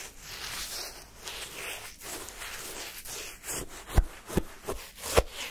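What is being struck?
Frozen sherbet in a paper cup, scraped with a wooden stick.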